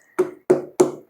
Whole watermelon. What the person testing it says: i like that hollow knock that sound good to me